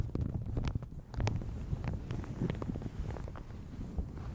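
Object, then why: Thin plastic shower cap stretched over a microphone. Fingertips and nails crinkle and scratch a light blue plastic shower cap stretched over a large hollow Yeti microphone. A steady run of soft, quick crinkles and scratchy taps is heard, with a deep, boomy low-end thump under each touch and little brightness.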